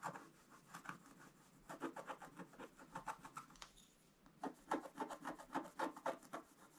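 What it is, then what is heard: Scratch-art card being scraped. A wooden stylus scratches a flat, thin scratch-art page with a black coating over gold foil. It makes quiet, rapid, uneven rasping strokes with a brief pause near the middle, then a run of slightly louder strokes.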